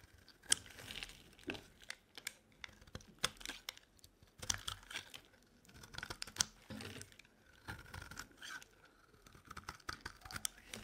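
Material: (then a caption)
Soap. A solid, hand-sized white bar of dry soap is held in the hand and scraped with a metal utility knife blade into thick curls. The result is a quiet series of crisp, dry scraping and crackling strokes, bright and high in tone, with short bursts separated by brief pauses.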